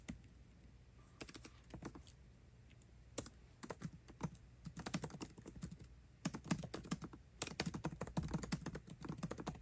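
Both hands type fast with fingertips on the backlit black plastic keycaps of a 13-inch aluminium MacBook Pro laptop keyboard. Dense, crisp key clicks patter continuously, sparse at first and then in quick bursts, over a low hum.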